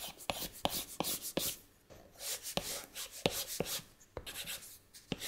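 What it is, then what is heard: Stylus tapping a glass tablet screen. A plastic stylus nib taps and rubs across the flat glass touchscreen of an iPad while painting shapes. Sharp, bright clicks land at irregular intervals between soft, hissy scratching strokes, each tap dying away almost instantly.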